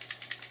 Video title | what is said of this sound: # 12 Glock Armorer Firing Pin Disassebmly | you hear that noise it will be your firing pin in there going back and forth